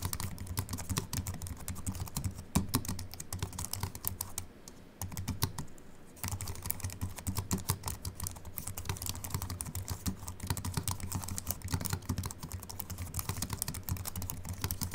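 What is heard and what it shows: Fingertips of both hands type steadily on a compact Apple keyboard with a silver aluminium body and white plastic keys, resting on a wooden desk. The rapid, dense stream of short, dull key clicks and soft low thumps pauses briefly near the middle, then resumes at the same pace.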